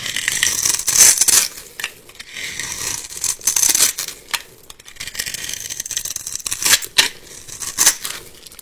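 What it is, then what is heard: Bar soap being cut. A metal box-cutter blade slices and scrapes a solid, palm-sized bar of yellow soap held in the hand, cutting it into crumbly cubes and shavings. Dry, bright crackling and scraping bursts come in uneven waves, with almost no low end. Each pass fades quickly into quieter gritty rustling.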